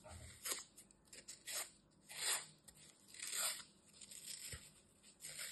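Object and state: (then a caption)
Floral foam being cut and scraped. A metal utility knife cuts and scrapes chunks from the edge of a small, solid green floral foam piece with glitter dents. Each stroke gives a bright, dry, crunchy scrape that swells and fades quickly, coming at an uneven, unhurried pace with quiet gaps between.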